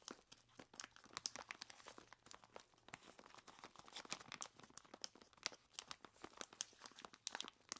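A large clear plastic bag full of ice cubes is squeezed and scratched with long plastic claws. Dense, bright crinkling and crunching bursts follow in rapid succession as the ice shifts and crunches inside the bag, with almost no low end.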